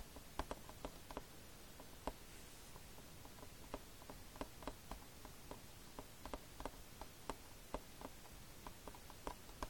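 Fingertips tap the glossy front cover of a hollow Fullmetal Alchemist plastic DVD case lying flat. The result is a quiet, steady series of short, dry clicks and ticks, each dying away almost instantly, over a low, constant rumbling background.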